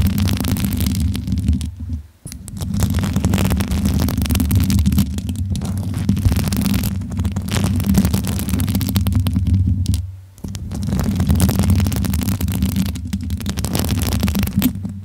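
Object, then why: Metal microphone grille. Hands rub and cup the hollow metal grille and body of a bare pink microphone, with fingertips and long nails stroking it. This gives a steady, low rumbling handling noise with a faint brighter scratchy texture. Brief pauses come near 2 and 10 seconds.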